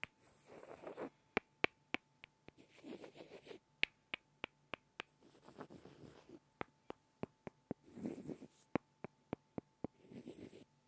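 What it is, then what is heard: Pair of wooden blocks. Two small solid light-wood blocks are rubbed and tapped together by hand. Soft, grainy rubbing passages alternate with about eighteen sharp, dry wooden clicks that cut off almost instantly. The overall level is quiet, with a bright, crisp edge.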